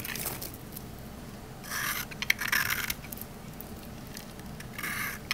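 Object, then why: Olive oil bar soap. A rectangular solid green olive-oil soap bar, held in the hand, is scraped with a metal utility knife blade. Bright, raspy scraping comes in a few short bursts with a crackly, gritty texture. Faint low background noise fills the quiet gaps between strokes.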